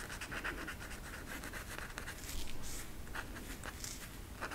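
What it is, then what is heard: Marker scratching on a velvet art poster. An orange marker tip rubs and scratches across a flat velvet coloring poster with black flocked velvet lines on a stiff backing while coloring it in. The sound is a steady, soft, dry scratching with brief brighter strokes over a low background rumble, swelling slightly in the middle before easing back.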